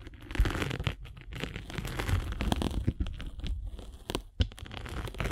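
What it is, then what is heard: Sanding sponge block scraped with a spiked roller. A metal-spiked derma roller is rolled across a solid grey-and-blue abrasive foam sanding sponge block, giving a rough, crinkly scratching with a heavy low rumble underneath. The scraping comes in uneven rolling strokes with sharper crackling bursts, some reaching bright and high, and it stops quickly between passes.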